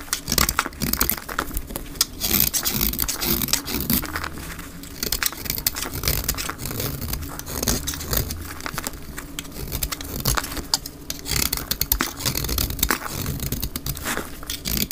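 A utility knife blade scrapes a solid, dry, white rectangular bar of soap held in the palm, shaving off fine white flakes, with the sound sped up to double speed. Dense, crackly scraping with bright, crisp edges runs continuously over a low rumble, swelling in short bursts throughout.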